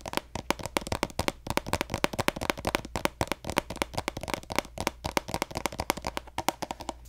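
A pink plastic lotion squeeze tube with a gold cap, held horizontally and hollow, is tapped rapidly with fingertips and nails. The result is a dense stream of short, dry, hollow clicks with a mid-range tone around 570 Hz and bright edges. Each tap dies away almost at once.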